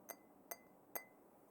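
A glass cup, heavier than a plastic one, is tapped three times with fingernails. Each tap gives a short, bright clink with a ringing tone near 2 kHz that fades quickly, a sound distinct from plastic or metal cups.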